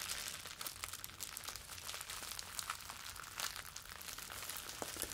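A wad of clear plastic bubble wrap cupped in both hands is squeezed and crinkled with the fingers. The result is a dense, continuous, bright crinkling full of quick, sharp crackles, with almost no low end and no ringing between them.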